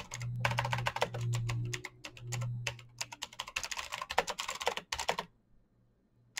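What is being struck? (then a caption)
Plastic mechanical keyboard. Fingertips type rapidly on a black plastic mechanical keyboard, producing a dense run of sharp, bright key clicks over a steady low hum. The tapping stops after about five seconds, leaving near silence before one last click at the end.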